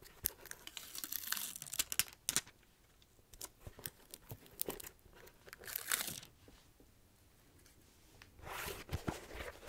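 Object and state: Rubber shoe sole.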